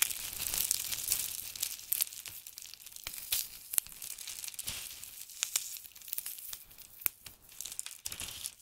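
Both hands dig into a heap of crisp blue and grey dried soap shavings, grabbing and crushing the flakes between the fingers. A dense, bright crackling and crinkling runs through the clip, with many sharp snaps standing out and almost nothing in the low range.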